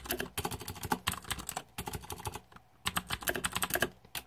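Fingertips type rapidly on the plastic keycaps of a green-backlit Razer 2014 Deathadder mechanical keyboard. Bursts of sharp, bright clicks and clacks are broken by two brief pauses, and each keystroke dies away almost at once.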